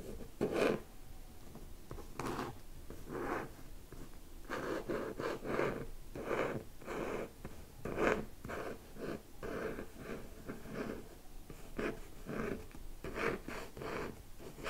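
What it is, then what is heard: Hardcover book cover being scratched and tapped. Fingertips and short nails slowly scratch and tap the printed cover of a closed, medium-sized solid hardcover book with a paper band, lying on other books. The result is quiet, dry scratching rustles with soft taps in irregular bursts, mostly in the low-mid range with little high-frequency content.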